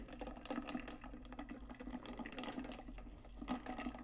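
Long nails tap and scratch rapidly on the outer wall of a large, hollow, metallic pink stainless steel tumbler with a lid. Quick, quiet clicks and scratchy rasps crowd together with a faint low-mid metallic tone. Each touch dies away almost at once over a steady low hum.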